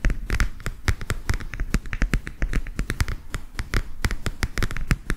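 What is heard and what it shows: Fingertips tap and scratch the illustrated printed cardboard cover of a flat, thin, rigid hardcover book or folder, about A4 size, held upright in both hands. A fast, uneven run of short, dry taps with soft scratches between them, each with a dull low thump and a brief bright tick that dies away at once.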